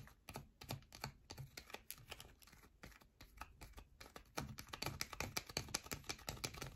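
Long nails scratch quickly along the edge of a solid yellow bar of soap held on edge in both hands. The result is a rapid, irregular run of dry, crisp clicks and scrapes with no ring, and it grows denser and louder over the last couple of seconds.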